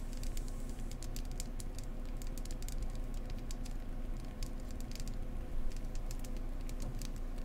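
Long acrylic nails tap and scratch along the ridges of a small solid beeswax candle shaped like a ribbed beehive, held in one hand. Quick, soft, dry clicks and light scratchy taps patter unevenly over a steady low hum.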